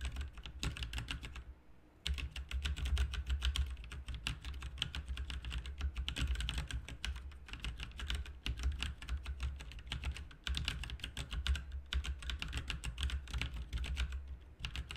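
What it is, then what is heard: Plastic mechanical keyboard being typed on. Fingertips of both hands type quickly on a full-size, backlit plastic mechanical RGB keyboard with plastic keycaps. The result is a dense, steady stream of short, dry key clacks: each has a low thock and a bright click on top. The typing breaks off briefly at about 2 seconds and again at about 10.5 seconds.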